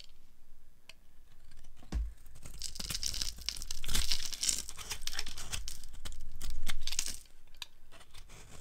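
A solid, pale green-cream dry soap bar held in the hand is scraped with a flat blade, and crumbly flakes fall off. Irregular dry scraping strokes give a bright, crackly, tearing hiss with soft low thuds underneath. The sound swells louder in the middle and again near the end.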